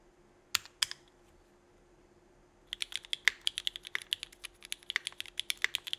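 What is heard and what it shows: Both hands type with their fingertips on a 65% mechanical keyboard with a solid case on a desk mat, fitted with an aluminum plate, Cherry Vintage Black switches and red and black GMK ABS plastic keycaps. Three separate keystrokes come first, then a short pause, then a quick, steady run of typing. Each stroke is a sharp, bright clack with almost no low end that dies away at once.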